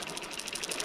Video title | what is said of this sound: Witness "Bullet Mullet" Madness: The Insane Walking Action You Have to See! | มีเสียงในความถี่ที่แตกต่างกันหนึ่งเสียงต่ำ